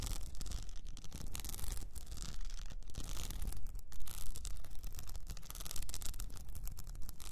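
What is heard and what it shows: Long fingernails on both hands scratch over an upright cylinder wrapped in blue plastic rhinestone mesh. The result is a steady, dense run of fast, gritty scratching and rubbing with a heavy low rumble underneath and no clear pauses.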